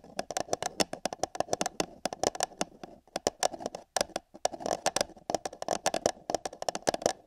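Long yellow fingernails tap rapidly on the side wall of an empty, hollow paper cup held over a binaural microphone ear. The result is fast, irregular bursts of dry, hollow clicks with a papery midrange tone and bright tops. Each tap dies away almost instantly, with brief pauses between flurries.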